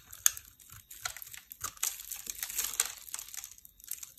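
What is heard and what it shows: A small, solid, heart-shaped bar of dry pink and white soap is held in the hand and scraped with a metal utility knife blade. The result is a quick run of dry, bright, crisp scraping crunches with almost no low end and no ring after each stroke.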